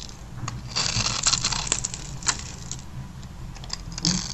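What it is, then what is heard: Dry soap bar being cut and scraped. A metal blade cuts and scrapes a grid into the surface of a solid, hand-sized, black-and-white striped bar of dry soap held in fingers with long white-painted nails. Small cubes crumble off as it goes. The sound is a bright, dry run of crisp scraping and crunching strokes at an uneven pace, with a few sharper crackles standing out over a soft low rumble.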